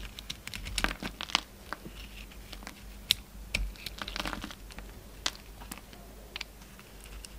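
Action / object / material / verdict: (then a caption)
scrape / soap bar cut with a utility knife / soap / none. A yellow utility knife shaves slices off an oval solid soap bar with a gold outer layer and orange interior, held in the palm. The result is a rapid series of sharp, bright crisp cuts and crumbly scraping with almost no ring, over a quiet background hum.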